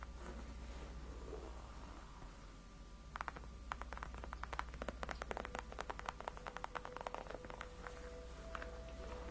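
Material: Faux leather.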